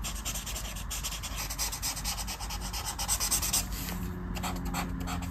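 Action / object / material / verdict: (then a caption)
scrape / felt-tip marker on a paper colouring page / paper / none. A black felt-tip marker is rubbed over a flat paper colouring book page lying on a table, with repeated strokes filling in the dark areas of a mandala. The strokes make a steady, scratchy rubbing with a bright, hissy edge over a low rumble, swelling slightly around the middle of the clip.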